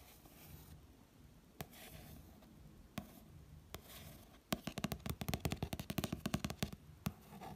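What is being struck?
Paperback book with glossy card cover.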